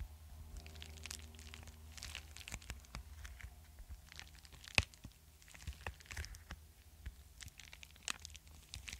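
A flat, apparently empty yellow kraft-paper bubble mailer is held near the mic while fingertips and nails tap and scratch its paper surface. The result is a dense run of quick, dry crinkly taps and scratchy rustles over a steady low hum, with one sharper tap standing out near the middle.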